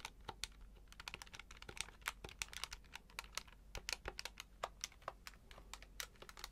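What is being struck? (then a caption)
Plastic desktop calculator keypad. A grey plastic desktop calculator with an LCD display is held in both hands while fingertips continuously tap and press its keypad buttons. The result is a rapid, uneven stream of short, dry, bright clicks that die away almost instantly, with little low-end weight.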